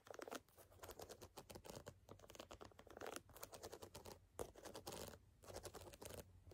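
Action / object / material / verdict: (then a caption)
scrape / ridged rubber shoe sole / rubber / none. Long fingernails scratch and tap along the deep ridges of a brown, solid gum-rubber outsole on a canvas sneaker held close. The result is a dense stream of quick, dry scratching and pattering strokes with bright, crisp edges and a steady low hum underneath.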